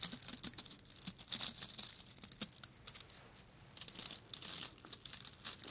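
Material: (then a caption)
Plastic. Fingertips scratch and flick the stiff plastic bristles of a blue plastic dish brush with a long handle, held in front of the microphones. The result is a quiet, bright, crackly scratching made of rapid dry flicks, mostly high-pitched with almost no low end. It eases into a softer lull in the middle before the brisk flicking picks up again.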